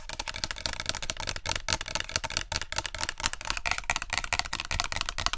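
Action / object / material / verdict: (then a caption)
tap / plastic spray bottle with liquid / plastic / none. Long nails rapidly tap and scratch a tall, clear plastic body mist spray bottle with a green cap and a yellow-green label, partly filled with liquid, held in both hands in front of the mics. A dense, fast stream of short, bright plastic clicks and scratchy rasps runs throughout, with almost no ring after each tap.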